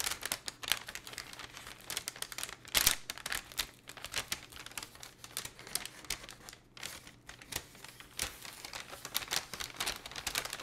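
A thin, empty patterned paper gift envelope is held in both hands, flexed and crinkled. Dense, bright crackling and rustling runs throughout in many short bursts with a few louder crunches, over a faint low hum.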